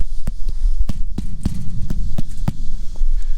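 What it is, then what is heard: Full lower section of grain bin, solid-sounding. Knocks on the metal wall of a grain bin holding corn move lower down the wall, changing from a hollow sound to a hard, solid one that shows where the corn fills the bin. Nine short, dull knocks sound over a steady low hum. The lower section sounds full.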